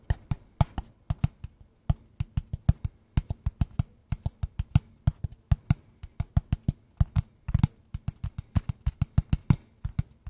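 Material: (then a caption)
Cardboard. A small, hollow, kraft-brown cardboard box is held in both hands and tapped rhythmically with fingertips and nails for about ten seconds. Each tap is a short, dry, hollow thump, low and deep, that stops almost instantly, with a faint bright click from the nails. The taps come in quick, uneven clusters with brief pauses between them.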